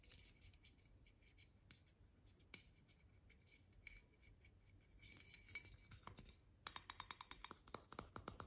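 Long nails tap and scratch a tall, hollow, white-painted aluminium Avène thermal water spray can and its plastic cap while it is held in the hand. Quiet, bright scratching with scattered light taps gives way to a busier stretch of scraping, then a quick run of sharp, high, short-ringing taps near the end.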